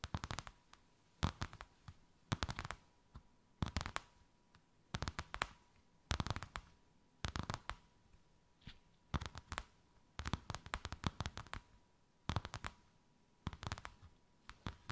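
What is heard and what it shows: Long white acrylic nails tap and scratch a thin white faux-leather sheet with a snakeskin emboss draped over something rounded. The sound comes as quick, dry clicking bursts with scratchy bright edges, clustered in short rapid runs separated by brief pauses, while a faint steady tone hums underneath.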